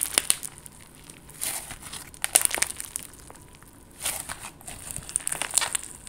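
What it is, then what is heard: Clear slime with confetti sequins being squeezed. A soft, solid clear slime filled with confetti sequins is squeezed and pressed with fingers and long gold nails. The result is quiet, bright crackling and crinkling with sharp little pops in several bursts, over a faint hiss between them.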